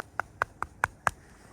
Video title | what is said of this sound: Full Tour of a John Deere 300G Excavator | it is solid there's about 10 tons of lead right there